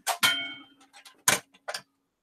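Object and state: Dropped metal tool, undamaged.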